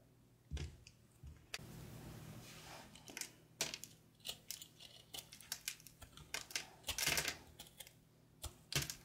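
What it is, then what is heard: Dry soap being scraped. A small patterned knife carves and scrapes flakes off a solid, palm-sized ball of dried, speckled soap held in an open palm. A rapid series of crisp, bright clicks and crackling scrapes is heard, with a longer, softer shaving hiss early on and a few louder cuts near the end.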